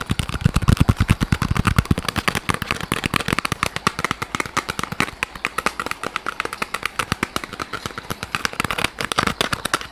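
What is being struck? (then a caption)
Soft rubber squishy toy. A small, soft yellow rubber squishy pineapple toy is held in front of the microphone and squeezed and scratched with fingers. A rapid, dense stream of short crackling taps and scratches sounds throughout, heavier and more thumping in the first two seconds, then lighter and brighter as the taps thin out.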